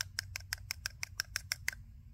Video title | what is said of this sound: Will it Trim Bush?? - Abandoned Hedge Trimmer - Will it Run?? | you hear that? Sounds like plastic.